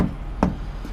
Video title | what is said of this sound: UK HGV Driver Keeping England Drunk. UK Trucking | Reason we kick tyres, you get a nice bump when they're full of air.